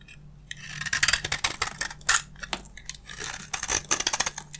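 A box-cutter blade scrapes a solid, hand-sized dry bar of beige soap held in one hand, shaving off crunchy flakes. A series of bright, dry, crackling scrape strokes follows a quiet start, with short, sharp bursts that die away almost instantly.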